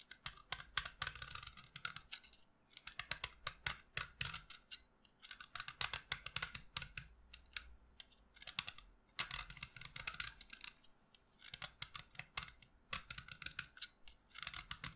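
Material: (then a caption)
Chalk. A solid white chalk stick held in the hand is shaved with a utility knife blade, and dust falls off it. Quick, dry, bright scraping strokes come in bursts with short pauses between them, each stroke cutting off sharply.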